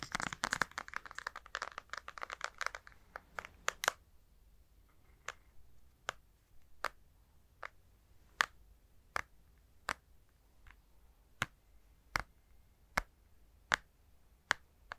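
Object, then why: Plastic and glass handheld game console. A Nintendo Switch console, its hollow plastic body with a glass touchscreen and green and red Joy-Cons attached, is held in both hands close to the mic while fingertips and nails tap its screen and plastic edges. The first four seconds are a dense flurry of rapid clicky taps and light scratching. The rest is a steady run of sharp, dry, separate clicks that die away instantly and have a bright, mid-high tone.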